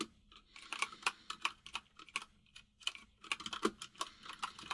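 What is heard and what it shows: Fingertips of both hands type on a full-size plastic mechanical keyboard with white and grey plastic keycaps. About two dozen quick, bright clicks land in uneven bursts with brief pauses, each dying away almost instantly.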